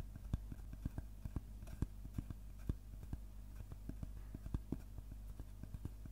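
Fingertips tap quickly on the cut face of a large round slice of solid tree trunk with its bark edge still on. The result is a rapid, uneven series of short, dull, low knocks with almost no ring, over a steady low hum.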